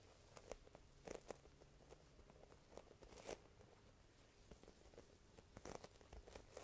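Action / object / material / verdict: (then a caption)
tap / embossed vinyl leatherette sheet / vinyl / none. Both hands with long painted nails press onto and lift fingertips and palms off a large, flat, blue embossed faux snakeskin vinyl (leatherette) sheet, possibly with some light tapping. Quiet, sticky peeling crackles and short, bright clicks come in scattered bursts over a soft background hiss. The releases stop dead with no ring.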